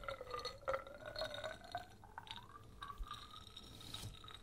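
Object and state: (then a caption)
Glass jar filled with liquid. A small glass jar with a polka-dot metal screw lid, filled with amber liquid or gel containing flakes, is held in the hands and turned while fingertips and nails tap the glass. Quick, soft clinks and taps sit over a faint, sustained glassy ring near 570 Hz that slowly slides upward in pitch. Bright overtones shimmer above it throughout.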